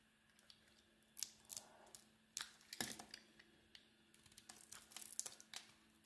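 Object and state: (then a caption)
Bar soap being carved. A metal blade shaves and carves curls of red and beige marbled coating from a solid oval bar of white soap held in the hand. Quiet, bright, crisp scraping strokes come in short bursts of varying strength over a faint steady low hum.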